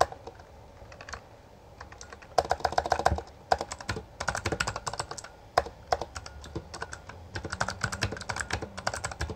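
Both hands type continuously with their fingertips on a Bloody B820R full-size black plastic mechanical gaming keyboard with backlit keycaps and a hollow housing, pressing and striking the keys. Rapid, dry, clacky keystrokes with a mid-pitched hollow tone come in dense flurries, starting softly and growing louder from about two seconds in, with brief pauses between bursts.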